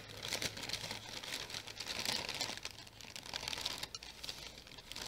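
Long painted nails scratch and crinkle the surface of a sheet of orange tissue paper wrapped into a flat package and held up to the camera. The result is a continuous, dense, bright crackling and scratching with rapid papery ticks, sitting over a faint low hum.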